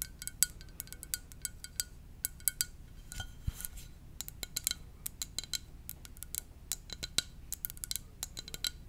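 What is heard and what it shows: A ceramic mug shaped like a VW van is tapped gently with the fingers, giving many quick, light clicks and clinks. The taps are bright and short with almost no ring, over a soft low background.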